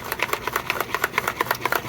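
A bottle holding aluminum polish and red rubbing compound is shaken to mix it, making a small metal bolt inside rattle. About 16 quick, bright clicks centered near 1 kHz come in a steady rapid rhythm, each dying away almost at once.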